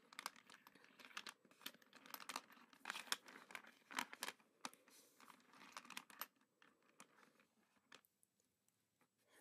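A hand and fingertips dig into a pile of small, smooth, solid glow-in-the-dark resin garden pebbles in a black container, moving them around. The pebbles click and clatter together in quick, dry, bright bursts with a crunchy, crinkling texture and no low rumble. The activity thins out toward the end into sparse, separate clicks.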